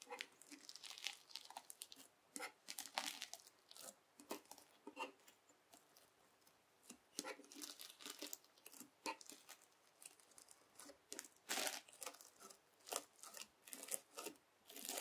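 A white plastic fork presses and scrapes into a folded lump of red translucent slime packed with dense plastic beads (floam). It makes repeated bursts of bright, crunchy crackling and crinkling with no low rumble, each burst dying away quickly between quiet gaps.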